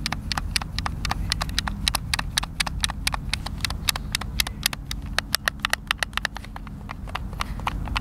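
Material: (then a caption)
Plastic. Thumbs and fingers repeatedly press and tap the buttons of a hand-sized, hollow white plastic Xbox controller, producing around forty sharp, bright clicks. The clicks are very short and dry, with no ring, and sit over a steady low rumble.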